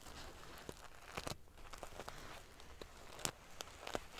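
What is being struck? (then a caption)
Fabric pillow covered in small metal sequins. Long, dark-painted fingernails and fingertips ruffle and scratch a large decorative pillow with a soft stuffed body, covered in rows of small silver metal sequins or scales sewn onto fabric. A quiet, steady crinkling rustle is broken by scattered sharp, bright clicks as the metal pieces snap against each other.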